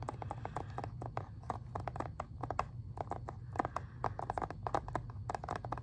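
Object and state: Plastic game case.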